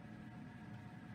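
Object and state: Nothing is struck.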